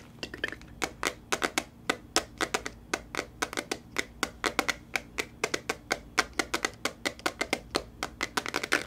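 A smartphone in a patterned plastic case with a glitter pop socket is held close and its back is tapped and scratched with fingernails. Dozens of quick, dry, bright clicks and taps follow one another in an uneven rhythm, each dying away almost instantly over a faint low background hum.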